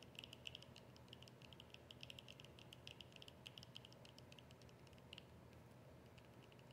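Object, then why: Small plastic squeeze tube. Long nails tap and scratch a small, hollow white plastic squeeze tube with a yellow cap. Quick, light, bright clicks come in an irregular stream with dry scraping between them, each tap dying away almost instantly. A faint, steady low hum sits underneath.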